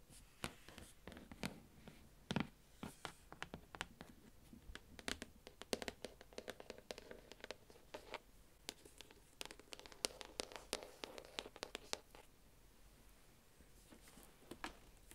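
A shrink-wrapped cardboard advent calendar box is turned in the hands while long nails scratch and tap its sides and front. Quick, sharp, bright taps and clicks come in irregular bursts over a soft, crinkly scratching of the plastic wrap, with short quieter stretches in between.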